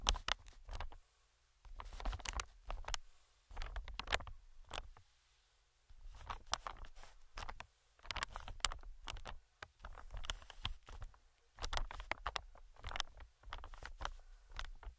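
Metal tweezers tap and scratch the film of a medium-sized, inflated green plastic-film air cushion. Quick, crisp taps and scratchy crinkles come in clustered bursts separated by brief silent pauses. Each contact pairs a soft low thump with a bright, papery crackle that dies away almost instantly.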